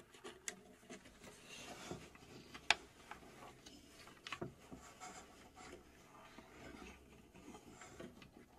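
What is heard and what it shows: Long acrylic nails scratch and rub the front face, with its dial, of a small, hollow, laser-cut plywood UGEARS mechanical safe held in both hands. The result is a quiet, steady, bright scratching and rubbing texture, broken by three sharp, brief ticks.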